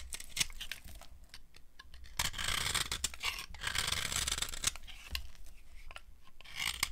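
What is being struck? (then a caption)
Bar of soap scraped by a metal blade. A metal knife blade scrapes and carves shavings off a hand-held, dry, solid white cream soap bar with a silver-painted surface. The clip has dry, crunchy scraping strokes with bright, hissy bursts, punctuated by sharp crisp clicks over a faint low rumble.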